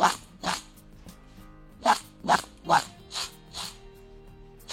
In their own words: किती कुरकुरीत आवाज येतो इथे